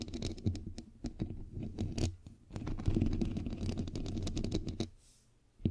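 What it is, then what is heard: Metal mesh microphone grille, tapped and scratched. Long pink nails and the fingertips of both hands tap and scratch a bare, hollow, fist-sized microphone head with a white perforated metal mesh grille. The result is a dense, irregular stream of boomy low thumps and short scratchy clicks that die away quickly. It falls quiet near the end before one last tap.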